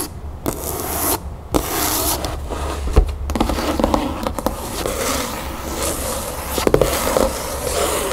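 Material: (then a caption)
Cloth, board. Long natural nails tap and scratch the front cover of a large, solid, red cloth-covered hardcover book lying on a wooden table. Continuous dry scratching and rubbing fills the clip, broken by quick, sharp taps. The sound is dull and low-heavy with little bright content.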